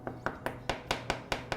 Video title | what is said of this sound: How to Fix Cracks in Old Walls - House Painting | that is hollow so we've got some really rough spots here